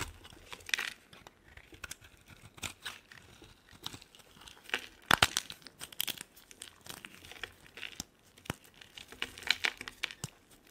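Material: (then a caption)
Soap. A solid white bar of soap held in the hand is shaved with a utility knife blade down to a small piece. Irregular bursts of crisp, bright scraping and crumbling rise over a quiet background, with the loudest strokes clustered midway through. The sound has almost no low end and no ring after each stroke.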